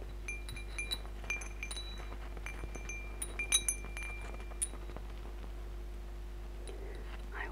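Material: Metal, glass.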